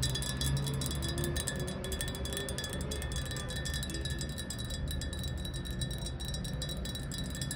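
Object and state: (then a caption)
Glass jar with a little water, tapped with nails. Long acrylic nails tap rapidly and continuously on the wall of a tall, hollow, clear glass jar that stands upright on tile with a small amount of water at the bottom. The taps blur into a steady, chime-like ringing, with a sustained tone near 1.8 kHz and bright shimmer over a dense low rumble.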